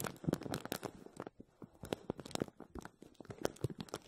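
A clear, thin plastic bag stretched over an empty, hollow, dome-shaped wire mesh strainer is gripped and pressed by both hands with fingertips and short nails. The film crinkles and scratches against the mesh in quick, dry, crackling bursts. The bursts are dense at first, thin out, then come back in irregular pops.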